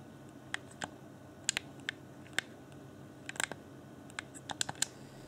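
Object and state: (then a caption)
Plastic game controller tapped and scratched. Fingertips and nails scratch and tap around the D-pad of a clear plastic Xbox One Afterglow game controller, a transparent, hollow hand-held shell. Thirteen short, bright plastic clicks and scratches stand out against a quiet, steady hiss, each dying away almost instantly with no ring.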